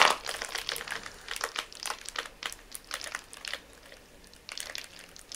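A clear, hollow, air-filled plastic air pillow packaging bag with green print is squeezed and crumpled in both hands until it bursts. A sharp, bright burst opens the clip, followed by a run of crisp, crackling plastic crinkles that rise and fall in short clusters, with almost no low-end rumble.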